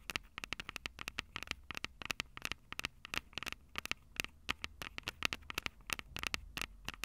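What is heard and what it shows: Long purple nail tips tap the silver metal mic capsules of a Tascam DR-05 handheld audio recorder. Dozens of rapid, irregular taps sound as sharp, dry, bright clicks centered around 2.7 kHz. Each click dies almost instantly over a faint low hum.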